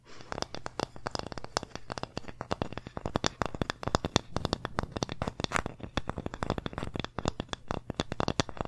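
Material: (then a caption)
Wood. Long nails tap and scratch the front and labeled back of a small, flat, solid wooden pumpkin-shaped plaque. The result is a steady stream of rapid, dry, sharp clicks with no ring, each flaring briefly bright, over a faint low hum and soft scratchy texture between the taps.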